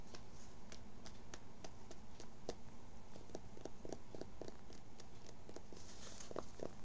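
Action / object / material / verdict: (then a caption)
scrape / cotton fabric baseball cap / cotton / none. Fingertips and short nails scratch and rub along the inner fabric and sweatband of a dark, soft, hollow, empty cotton baseball cap, held with its inside facing out. A quiet run of quick, dry scratching strokes and brief bright ticks rises over a low, steady rumble.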